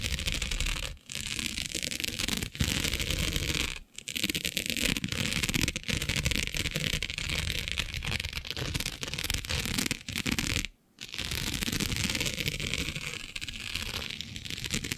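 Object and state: Plastic diamond mesh sheet.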